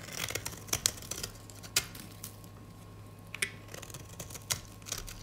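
A gold metal utility blade scrapes and carves the surface of a rectangular, solid, white dry soap bar held in the hand, producing crumbly flakes. Dry, bright crunching and scratching comes in quick sharp bursts with a few louder cracks, over a faint steady low hum and a thin constant tone.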